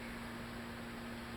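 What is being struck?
Nothing is struck.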